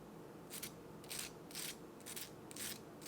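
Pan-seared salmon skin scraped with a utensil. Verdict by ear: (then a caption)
Crispy. A utensil is scraped across the skin of a pan-seared salmon fillet, producing six short bursts of bright, crackling scraping over a quiet steady background hiss. The crunchy sound shows the skin is really crispy.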